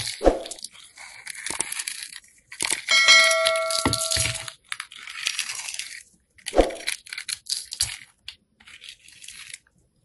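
A hand-sized, solid white rectangular soap bar coated with purple and black sprinkles is held in the hand while its surface is scraped and shaved off with a metal box cutter blade. Bursts of dry, bright, crackly scraping are broken by short pauses, with a couple of sharp clicks. Around the middle, a brief steady ringing tone runs under the scraping.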